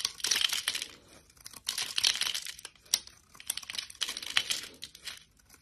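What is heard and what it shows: A solid, elongated bar of translucent yellow soap, held between fingers with long lilac nails, is cut and scraped with a utility knife blade into thin curls. The result is bright, crisp crinkling and scraping in uneven bursts with quiet gaps between them, with almost no low end and a tone centred near 3 kHz.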